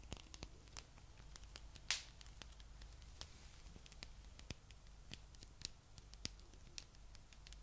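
A palm-sized blue spiky rubber massage ball is held in both hands and scratched with long nails over its spikes. Soft, sharp, bright ticks and clicks are scattered across the clip over a low, steady hum, with one louder rasping scratch near the two-second mark. The sound stays quiet and close throughout.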